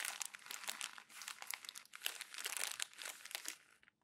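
Thin glossy magazine pages are crumpled and squeezed by bare hands on a desk. A dense run of bright, crisp crinkles and sharp crackles continues almost without pause, with almost no low end. It tapers off and falls quiet just before the end.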